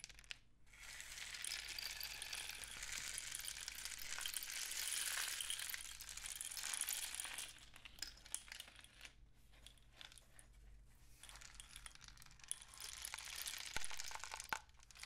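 A long, hollow painted cardboard rain stick with mesh-wrapped ends is held upright or diagonally in the fingers and tilted, sending the filling flowing inside. It makes a dense, bright rushing patter that swells and fades, thins to scattered ticks, then builds again. A faint, steady low hum sits underneath.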